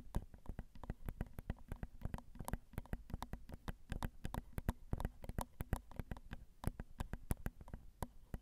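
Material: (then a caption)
Metal mesh. Long acrylic nails tap rapidly and irregularly on the small hollow metal mesh grilles of a Zoom recorder's XY microphone capsules. Each tap is a short, dry, low thump with a bright clicky edge and almost no ring, heard as a steady, quiet patter.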